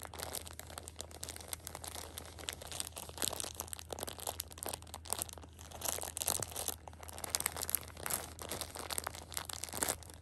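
A Shopkins pocket tissue 6-pack in clear plastic overwrap lies flat while fingertips and long painted nails scratch and press the crinkly film, and a flat hand rubs across the top. A continuous, bright crinkling and crackling runs throughout, made of dense, quick scratches with no ring after each one, over a steady low hum.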